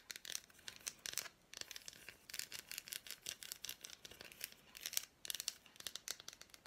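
Long black nails tap and scratch a small, unwrapped piece of a solid milk chocolate bar with fruit pieces, held in the hand. The result is quick, dry, bright clicks and scratchy rasps in dense bursts with short pauses between them, high-pitched and with almost no low end.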